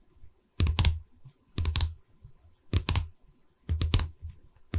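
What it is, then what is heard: Wooden canvas stretcher frame tapped with nails. A hollow pine canvas stretcher frame, held upright in front of the mic, is tapped rapidly along its top wooden edge with four long red nails. Quick clustered bursts of dull, low wooden knocks with bright clicky edges come about once a second, each dying away almost at once, with another burst starting at the very end.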